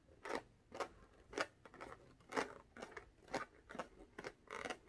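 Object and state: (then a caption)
Inflated latex balloon. A small blue inflated latex rubber balloon, hollow and air-filled, is held low in the hands and tapped and scratched with long orange-painted nails. Short, dry, bright scratchy strokes with a slight rubbery squeak repeat at an uneven pace, each fading quickly into quiet.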